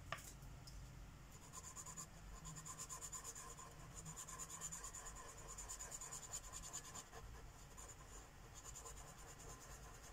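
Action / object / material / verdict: scrape / paper coloring book page with marker / paper / none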